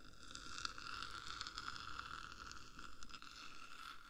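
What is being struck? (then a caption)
Metal microphone case. Long black nails on both hands tap and scratch the top of a hollow black metal 3Dio microphone housing. A steady ringing tone near 1.4 kHz runs throughout, with soft scraping, brighter clicks and a faint low rumble, all at a quiet level.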